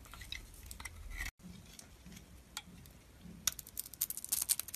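A metal utility-knife blade shaves a hand-held solid dark red bar of soap with a white core, peeling off layers. Soft, quiet scraping with a brief gap of silence gives way to a denser run of bright, crisp crackles and clicks as the layers peel away.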